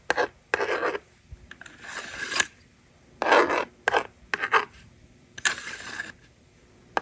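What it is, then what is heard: Plastic magnetic drawing board being written on and erased. A yellow stylus scratches numbers onto a handheld plastic toy magnetic drawing board, and its plastic eraser slider is moved across. Short, dry, rasping scrapes come in quick bursts, broken up by a couple of longer, softer sliding sweeps.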